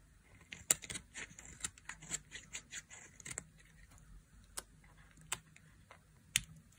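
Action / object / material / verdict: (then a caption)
scrape / soap bar scraped with a metal blade / soap / none. A solid, partly carved dry orange soap bar held in the palm is scraped with a flat metal blade. The result is a run of quiet, crisp scrapes and sharp clicks, bright and airy with almost no low end, and each one dies away instantly. A few louder snaps stand out among the softer scratchy strokes.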